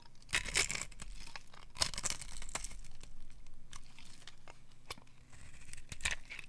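A solid pale green rectangular bar of dry soap held in the hand is scraped and carved with a metal utility knife blade, curling off shavings. Dry, bright scraping and crinkly tearing strokes come in bursts, with quiet pauses between them.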